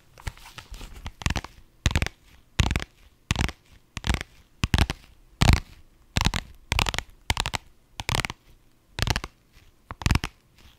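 A soft-sided pink holographic faux-leather vinyl zippered pouch, held up in both hands, is scratched and tapped with long nails. Short, irregular bursts of bright, crinkly scratching land with soft low thuds. Each burst stops quickly and is separated by near-silent gaps.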